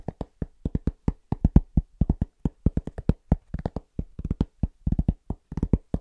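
A large, thin, round cork trivet, held at various positions, is tapped quickly with the fingertips. The result is 34 short, dry, low thuds that die away almost instantly, in a fast, uneven rhythm.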